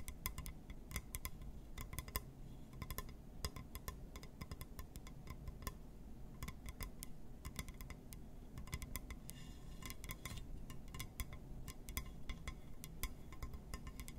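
A glass surface is tapped and scratched, giving a rapid run of short, bright clinking ticks that fade almost instantly. They sit over a steady low hum, with a brief scratchy patch around the tenth second.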